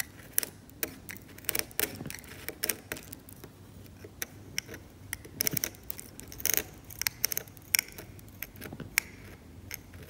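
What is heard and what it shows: A metal scalpel scrapes the cracked paint of a varnished oil painting on canvas in short strokes. Many quick, dry, bright scratches and ticks come at an uneven pace over a faint hiss, with little low end and no ring after each stroke.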